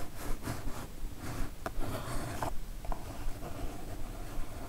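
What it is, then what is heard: Kraft cardboard mailer box. Long nails scratch and tap near the top of a kraft cardboard mailer box, producing a soft, papery rubbing rasp. Three brief, sharper taps stand out from the scratching.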